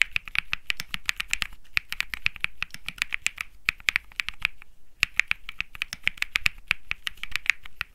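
Fingertips type rapidly on a compact Think6.5 mechanical keyboard with an aluminum case, PC plate, plastic keycaps and Bsun Lollipop switches. It makes a fast run of short, crisp clacks with a bright tone centered near 2 kHz and a light low thump under each press. Brief pauses fall around 1.6 and 4.8 seconds.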